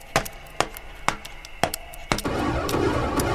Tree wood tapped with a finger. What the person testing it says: Hollow cavities make a characteristic Echo